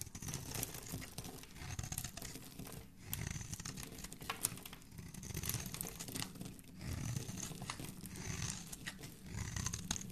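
A palm-sized solid white Dove soap bar, held in the hand, is shaved and scraped with a metal utility blade, curling off flakes. Steady, dense crinkly scraping with bright crackle and a soft low rumble swells and eases in repeated waves throughout.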